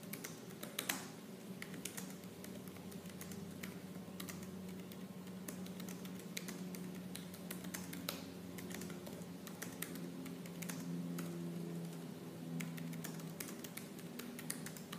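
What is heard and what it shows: Both hands type fast with fingertips and medium purple-painted nails on the black plastic chiclet keys of a silver laptop resting on a table. The result is a dense, continuous stream of rapid, sharp plastic clicks and taps over a steady low hum.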